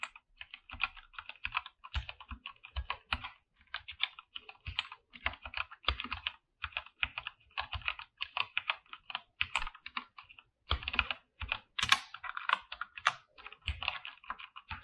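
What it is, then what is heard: Mechanical keyboard with PBT keycaps. Both hands type with their fingertips on a full-size mechanical keyboard with a white backlight and PBT plastic keycaps, in a dark room. Rapid, steady keystrokes give short, bright clacks with a faint low thud under each. There are brief pauses between bursts, and a sharper flurry of keys comes near the end.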